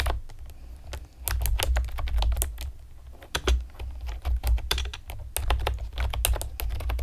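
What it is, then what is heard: Plastic typewriter-style keyboard being typed on. Long painted nails and fingertips rapidly tap the hollow, round retro keycaps of a pastel plastic typewriter-style computer keyboard. Dense, bright, sharp clicks and clacks fall in quick bursts with very short decay. A steady low hum runs underneath throughout.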